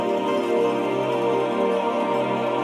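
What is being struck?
Nothing is struck.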